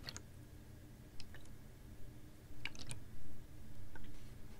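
A clear, ribbed PET water bottle, hollow with a little water inside, is held horizontally in both hands and tapped and squeezed with long nails. Sharp, bright clicks and ticks come at irregular moments over a steady low hum, with a few slightly louder, fuller crinkling swells in the second half.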